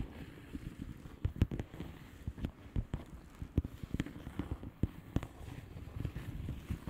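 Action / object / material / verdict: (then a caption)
tap / plastic bubble wrap envelope / plastic / none. A flat blue plastic bubble wrap envelope is tapped with the long polished fingernails of both hands. Quiet, quick taps come in an irregular patter, dull and thuddy with most energy low down and only faint bright clicks. Each tap dies away almost instantly over a soft crinkly rustle.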